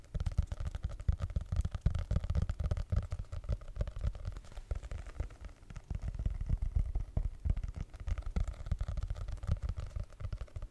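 Fingertips and nails tap and scratch the cardboard cover of a small, solid red hardcover notebook with paper pages, held close to the microphone. The result is a dense, rapid stream of soft, muffled thumps and rustling scrapes, heavy in deep low rumble with almost no bright top end.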